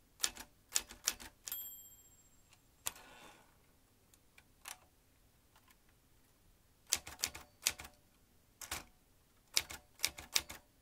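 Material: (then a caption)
Metal. Fingertips press the round keys of a vintage metal manual typewriter, snapping its typebars in bursts of bright, sharp clacks separated by pauses. Early on, a clear high ringing tone sustains briefly, followed by a short rasping sweep before the typing resumes in quick runs.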